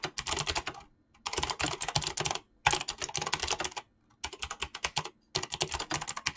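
Fingertips of both hands type rapidly on a mechanical keyboard with PBT plastic keycaps and clicky switches. Five bursts of fast, bright clacking keystrokes are separated by brief pauses.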